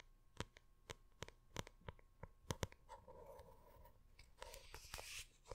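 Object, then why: Hardcover book with printed paper cover. Long red-painted nails tap and scratch the textured printed paper cover of a large, closed hardcover art book with Diablo cover art, held upright near the microphone. Sharp, quick taps with a low thump are heard, with scratching passages between them that rise into a bright rasp near the end.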